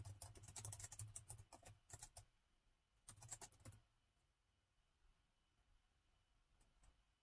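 Fingertips of both hands type on the black plastic keys of a gold laptop keyboard, making quick, bright clicking bursts over a soft low thump. A run of rapid keystrokes lasts about two seconds, a second short burst follows after a brief pause, and a few faint taps come near the end before it goes quiet.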